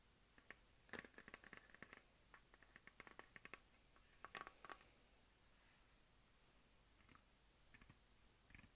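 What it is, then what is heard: Plastic desk globe. A medium hollow plastic map globe on a stand is tapped with long dark-painted nails and fingertips. Quiet, dry clicks and light patters come in irregular clusters, with a bright tone around 2 kHz and almost no ring after each tap.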